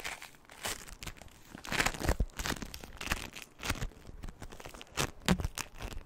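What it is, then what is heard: Crunchy floam (foam-bead slime). A small soft lump of purple crunchy floam, polystyrene bead slime made of tiny foam beads, is held in both hands just above the microphone and squeezed and crunched with fingertips and long nails. The result is a rapid, irregular run of dry crackling and crinkling bursts with bright, gritty snaps over soft low squishes.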